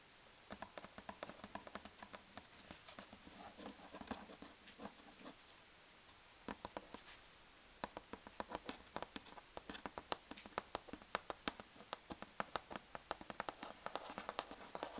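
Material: Cardboard.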